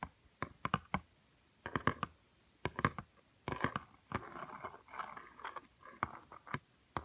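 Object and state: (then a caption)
Cardboard board book. Fingernails tap and scratch the glossy cream page of a small, thick, solid cardboard board book lying on a woven mat. Clusters of sharp, dry clicks with brief pauses between them give way midway to softer, steady scratching. The sound centers around 1 kHz and dies away almost instantly.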